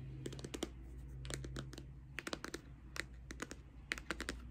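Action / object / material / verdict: tap / closed cardboard eyeshadow palette / cardboard / none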